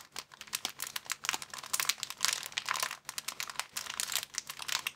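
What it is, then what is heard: Thin plastic bag crumpled. A thin, empty, clear plastic bag is crumpled between the fingers of both hands. It makes a dense, continuous crinkling of bright, sharp crackles with almost no low end. There is a brief lull near the middle.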